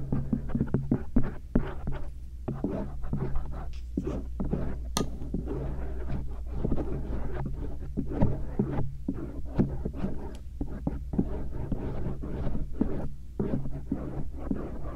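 A stainless steel earpick lightly scratches the outer rim and lobe of the soft silicone ears of a binaural microphone. Dense, quick, close-up scraping and tapping rustles sit over a steady low hum, with occasional sharper clicks.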